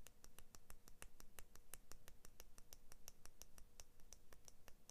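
Fingernails scratch and tap the thin steel blade of a pair of small plastic-handled scissors held in one hand. The result is a quiet, steady series of quick, bright metallic ticks over a soft low rumble.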